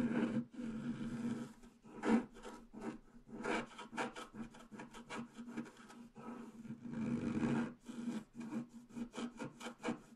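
A wooden stylus scratches branch shapes into a flat, black-coated scratch art paper sheet, using few strokes. The result is a series of dry, raspy scratches that rise and fall in short bursts, with a low-mid hum-like tone running beneath and almost no ring after each stroke.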